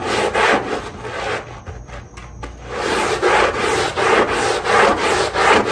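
The wet, foamy underside of a small rug with a dotted rubber backing is scrubbed with a long-handled push brush. Rhythmic, raspy brushing strokes sweep back and forth, briefly softening and thinning out midway before resuming at a steady, vigorous pace.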